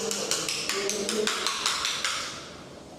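A ceramic floor tile in a new house is knocked about ten times during a defect inspection, giving sharp, bright taps with a ringing, vibrating tail. The tile is hollow underneath due to missing or insufficient cement.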